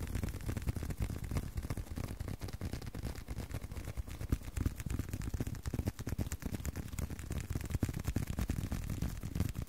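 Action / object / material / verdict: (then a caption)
tap / leather card wallet / leather / none. A leather card wallet is tapped with a rapid, uneven stream of soft, dull taps. Each tap is a short, low thud that dies away almost at once, with very little high-end brightness.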